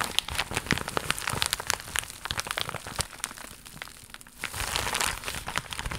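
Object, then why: Thin faux leather vinyl pouch. A flat, thin, seemingly empty iridescent crocodile-embossed faux leather (vinyl) pouch with a holographic finish is held in both hands and tapped and scratched with long pink nails. Many quick, bright clicks and crinkly taps ring out over a steady scratching hiss. The sound dips briefly in the middle before a denser burst of scratching.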